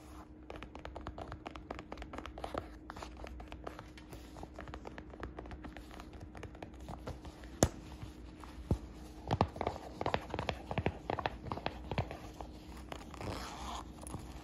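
Fingertips and long nails tap and scratch the flap and side of a hollow brown smooth leather shoulder bag with a flap, making dense, quick clicks and soft scratching over a low steady hum. Sharper, louder taps stand out in the second half, and near the end a hand reaches inside the bag with a rustle.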